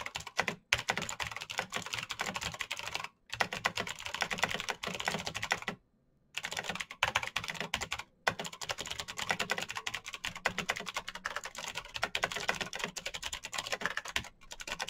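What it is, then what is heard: Mechanical keyboard with plastic keycaps. Fingertips type fast on a black Razer BlackWidow mechanical keyboard with plastic keycaps on clicky green switches, producing a dense, bright stream of sharp clicks. The typing breaks off in a few short pauses, the longest around the six-second mark.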